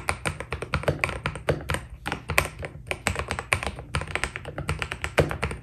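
Fingertips type steadily on a white Keydous NJ80 mechanical keyboard with PBT plastic keycaps. Each key press gives a short, crisp clack with a bright tap near 2.3 kHz over a solid low thock. The keystrokes come in a quick, continuous stream, each dying away almost instantly.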